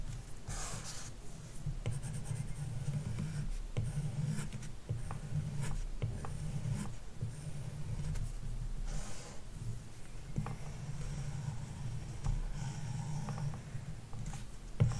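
A plastic stylus tip, held in a hand with long nails, draws on a large iPad glass touchscreen covered with a matte screen protector film. Soft, steady scratching strokes run throughout over a low, constant hum around 113 Hz, with faint brighter swishes as the tip drags across the film.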